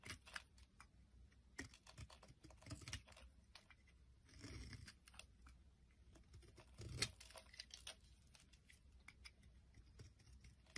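A hand-sized solid oval bar of green soap with a white layer, held in the palm, is shaved and scraped into flakes with a metal utility blade. Quiet, crisp scraping and quick bright ticks come in an irregular run, with a couple of longer, fuller scrapes midway. Each cut stops dead with no ring.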